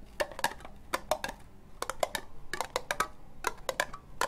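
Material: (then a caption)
Plastic. Long nails slowly tap on a hollow, empty orange ribbed plastic cup. Short, dry clicks with a bright, hollow plastic tone, centered near 600 Hz, fall in an uneven rhythm, each dying out almost at once over a faint low hum.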